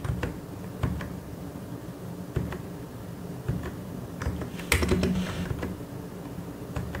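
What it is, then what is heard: Plastic mechanical keyboard being typed on. Fingertips type on the keys of a white and grey plastic mechanical keyboard. Scattered, uneven keystrokes make soft clicks with a dull low thump under each one over a quiet, steady background hiss. A slightly louder cluster of presses comes near the end.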